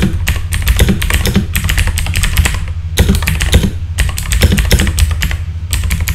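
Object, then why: Plastic mechanical keyboard keys. Fingertips type rapidly on a full-size backlit mechanical keyboard with plastic keycaps, producing a dense stream of crisp, bright clacks over a steady low hum. The typing runs in two continuous bursts separated by a brief lull near the middle.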